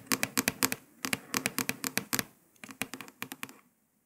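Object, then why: Paper sticker on a laptop lid. Several long pointed nails quickly tap and scratch on a printed paper sticker stuck to a grey laptop lid. About 23 sharp, bright clicks come in three quick, uneven bursts separated by brief pauses. Each click has a crisp, high scratchy edge with almost no low end and stops almost instantly.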